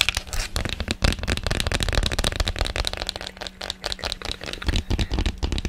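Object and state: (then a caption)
Plastic ice cube tray, tapped and scratched. An empty, hollow blue plastic ice cube tray, about 25 cm long, is held in one hand in front of the microphone while long painted nails tap and scratch fast across its ribbed underside and cells. Rapid, dense clicking and scraping crackle runs continuously with short, dry ticks, a bright edge, and a low, thumpy body. A faint steady hum sits underneath.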